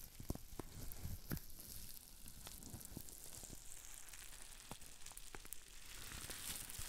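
A green plastic bubble wrap sheet with small air bubbles is held in the hands and squeezed so the bubbles pop. Rapid, sharp snaps ring out over a steady crinkly, sizzling hiss with bright crackle on top, and each pop stops almost instantly.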